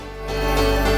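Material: Nothing is struck.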